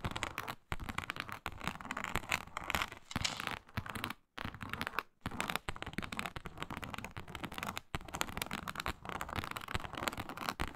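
Long nails scratch steadily across a flat, iridescent faux snakeskin mat of synthetic leather embossed with a reptile pattern. The result is a dense, crackly rasp that spans low to bright tones, broken by brief silent gaps before the scratching resumes.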